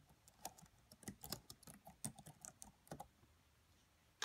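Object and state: Plastic laptop keyboard.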